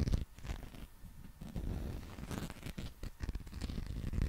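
A long, textured, solid soft rubber or vinyl dinosaur figure is held in both hands close to the mic and scratched and rubbed with fingertips and nails. The result is a quiet, dull, low-heavy run of rough scraping and rubbing strokes, with little brightness and almost no ring after each stroke.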